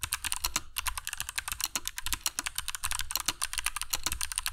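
Fingertips of both hands type continuously on a compact black mechanical keyboard with dark PBT plastic keycaps and Kailh Box Jade switches, resting on a cork desk mat. A rapid, steady stream of sharp, bright clicky keystrokes rattles out, each one short and crisp with a light low thud beneath.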